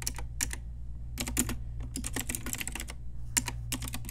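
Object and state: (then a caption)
Plastic mechanical keyboard. Fast typing with long nails and fingertips on an Ajazz pink retro typewriter-style mechanical keyboard with round plastic keycaps. Quick, bright, clicky keystrokes come in uneven bursts over a steady low hum.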